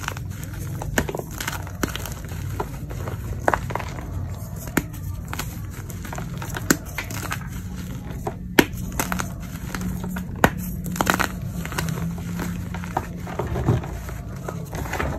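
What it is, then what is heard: Crumbled gym chalk. Bare hands grab, squeeze and crush handfuls of dry, white crumbled gym chalk (magnesium carbonate) chunks from a heaped tray of chunks and powder, rubbing them into powder between the fingers. Soft, dry crunching and crumbly crackling comes in quick, short bursts with scattered sharper crisp snaps. Underneath runs a steady low hum.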